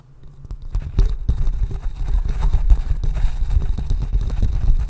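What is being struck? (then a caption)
Small polished wooden bowl. Fingertips and nails scratch and tap the rounded outside of a small, hollow, polished wooden bowl held upside down close to the mic. The result is a dense, steady run of soft, dull knocks and rustling scrapes, weighted almost entirely toward the low end. It starts quiet and builds within the first second.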